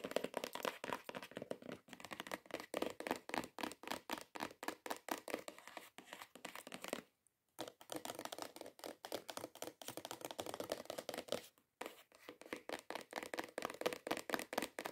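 Long acrylic nails tap and scratch quickly on the top and edges of a long, hollow, cream-coloured cardboard perfume gift box lying flat, its contents not visible. Rapid, dry, clicky taps blend with papery scratching, centred in the midrange with almost no bass and no ring after each strike. The flurry runs almost continuously, broken by two brief silences near 7 and 11.7 seconds.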